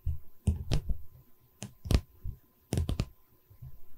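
Long red-painted nails tap and drum on the top edge of a light pine wooden canvas stretcher frame held upright. About eight short, dull, low knocks are heard, with sharp clicky onsets and almost no ring, separated by quieter soft rubbing.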